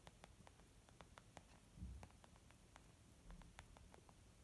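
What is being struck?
Small leather zip makeup bag.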